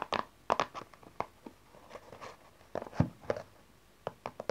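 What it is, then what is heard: Cardboard card box. A small, dark cardboard tarot card deck box is held up, then set on its side and tapped with long nails on its side panel. Short, dry, clicky taps come in irregular clusters with quiet gaps between them. Each tap has a hollow papery tone around 650 Hz and dies away almost instantly.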